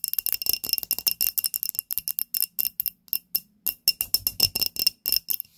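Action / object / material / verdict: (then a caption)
tap / small glass candle holder / glass / none. Long nails tap a small glass candle holder, filled with pink wax and holding a lit candle, in a quick, uneven run of 31 light taps. Each tap is a bright, glassy click with a faint high ringing tone that dies away almost instantly, with almost no low end.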